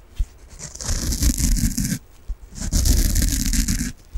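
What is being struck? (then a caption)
Foam bath sponge. A soft peach foam bath sponge is scratched and rubbed with long nails in two sustained bursts, with brief soft taps before and after. Each burst gives a dense, rough, low rubbing rumble layered with a bright, airy scratching hiss that stops abruptly.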